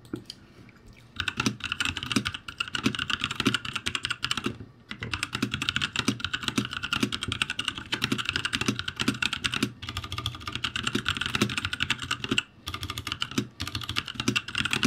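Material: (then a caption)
Plastic. Fast typing with the fingertips of both hands on a backlit ROCCAT G65 mechanical keyboard with plastic keycaps. Dense, bright, clacky key taps run almost nonstop, with brief pauses near the start, around five seconds and around twelve and a half seconds.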